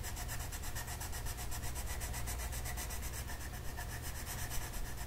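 A purple colored pencil rubs back and forth across a flat paper mandala coloring sheet while coloring. The result is a steady, rhythmic scratchy rubbing with bright, quickly repeating stroke texture over a constant low hum.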